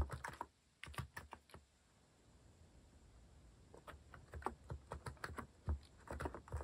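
Fingertips type on a compact Hanmumu mechanical keyboard with a white plastic case and plastic cat-shaped keycaps. A quick run of low, clacky keystrokes gives way to a short quiet pause, then steady typing resumes. Each press lands as a dull, deep click with very little ring.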